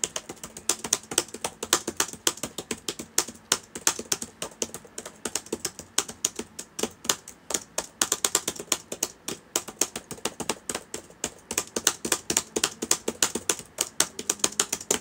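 Both hands type with their fingertips on the plastic keys of a black laptop with a hollow body, set open on a table. A steady, rapid stream of short, bright, clicky taps comes through, each dying away almost instantly with little low end.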